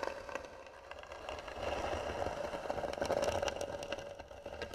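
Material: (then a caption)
Wood. Fingernails of both hands scratch and tap across the hollow lid of a carved, varnished wooden box. Dense, dry scratching is broken by quick taps, with a faint hollow resonance around 520 Hz. The sound swells louder in the middle before easing off.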